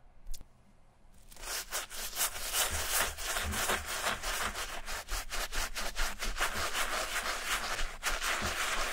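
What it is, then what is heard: Suede sneaker being brushed. A wooden-handled bristle brush loaded with soapy foam scrubs the suede upper of a grey suede and mesh Adidas running shoe, which is hollow and empty and held in a gloved hand. After about a second of near-silence with one faint tick, a steady wet, bright, hissing brushing begins, rising and falling in quick, uneven back-and-forth strokes until the end.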